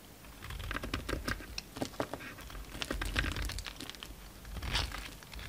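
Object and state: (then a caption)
Bar soap being shaved. A solid green bar soap held in the hand has thick curls shaved off with a utility knife blade. Dense, crisp scraping and crackling cuts come in quick bursts, with short, bright ticks over a low rumble throughout. The shavings peel away in a steady run of dry, crunchy strokes.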